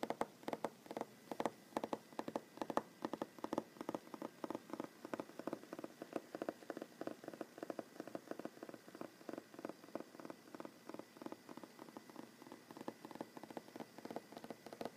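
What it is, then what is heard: Solid wooden tabletop. Short fingernails of one hand tap in a fast, fluttering rhythm on a large solid wooden tabletop. The many quick, dry taps come in rolling bursts with a mid-range knock and almost no ring, and the whole passage stays quiet.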